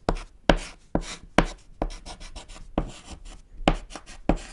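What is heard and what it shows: A thick white chalk stick scratches and taps on a small, solid, flat black chalkboard panel while writing. Sharp, bright tapping strikes sit over gritty scraping, with an irregular rhythm and short, quickly fading impacts.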